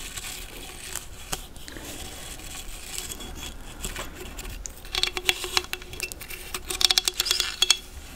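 A thin dark stick or brush handle is scraped along the ridged, toothed opening of a large, hand-sized hollow cowrie seashell. A soft, faint scratching runs through the first half, then quick bursts of sharp, bright clicking and rasping ticks come in two busier flurries near the end.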